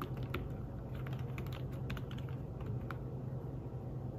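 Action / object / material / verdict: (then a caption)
tap / fabric-covered tablet keyboard / fabric / none. Fingertips tap the keys of a thin fabric-covered tablet keyboard case while typing. The soft, muted clicks come in quick, uneven bursts over a steady low hum.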